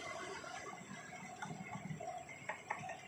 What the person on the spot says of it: Jadi bunyinya beda, bukan bunyi besi ya.